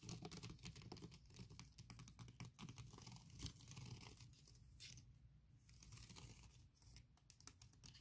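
Long red painted nails rapidly tap, scratch and type across the keys of a 16-inch aluminium MacBook Pro keyboard covered by a thin patterned silicone skin. The sound is a dense, irregular stream of soft, muffled key thuds with a low body, layered with bright, crinkly scratching swipes that swell and fade between bursts.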